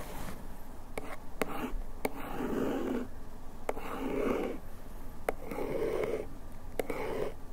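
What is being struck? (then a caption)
Paperboard bandage box scratched with a bamboo ear pick. A bamboo ear pick, held in one hand, scratches over the printed text on the back of a small paperboard bandage box held in the other. It makes soft, papery scraping strokes in several short bursts, with sharp little ticks between them. The sound is dry and muted, with a low rumble under the strokes.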